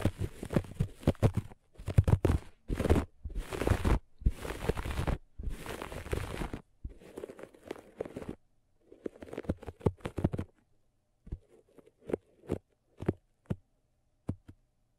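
Long nails on both hands scratch the pile of a flat looped grey-beige carpet. Dense, rough scratching bursts fill the first half, then thin out into sparser, short dry scrapes separated by silence. The sound is dull and low-weighted with little brightness.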